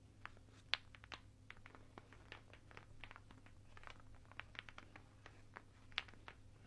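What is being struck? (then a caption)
Strand of wooden beads. A garland strand of large, solid, unfinished light wooden beads is held up in both hands while the beads are rubbed and clacked together and the strand is shaken with the fingers. The result is a quiet, irregular run of short, bright wooden clicks and ticks, with two sharper, louder clacks standing out, over a faint steady low hum.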